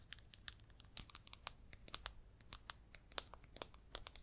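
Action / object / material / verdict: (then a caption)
tap / small plastic jar / plastic / none. Long red nails tap and scratch the lid top and side of a small red plastic baking powder jar. The result is a quiet, rapid series of sharp, bright clicks with very short decay, mixed with thin scratchy rasps and almost no low-end body.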